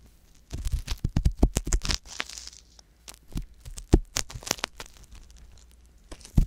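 A wooden ear pick scratches inside the ear canal of a soft silicone ear mounted on a white box binaural microphone, held close to the ear. Irregular bursts of dry, crackly scraping and rustling come through, with heavy low-frequency thumps underneath and bright raspy edges. Each scrape stops abruptly, with quieter pauses between flurries.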